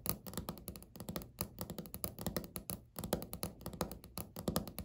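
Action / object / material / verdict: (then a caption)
tap / laminate countertop / laminate / none. Fingernails tap and scratch quickly across a flat, solid, speckled beige laminate countertop. Dozens of short, dry taps with a low body and very little ring follow one another in a rapid, uneven rhythm, with faint scratchy texture between them.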